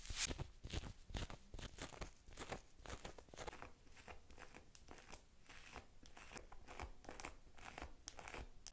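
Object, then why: Small plastic toy figure. Long pink nails tap and scratch the textured surface of a small green plastic dinosaur figure held in the hand. The result is a quick, uneven run of dry, crisp clicks and crunchy scraping, bright across the top with a soft low thump underneath. Each tap dies away at once.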